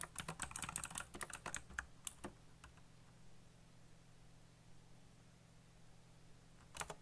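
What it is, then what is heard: Plastic mechanical keyboard. Fingertips type fast on a backlit black plastic mechanical keyboard with RGB lighting and hollow key switches, giving a quick burst of bright clacky keystrokes. The typing pauses over a low steady hum, then resumes with a short final flurry of taps.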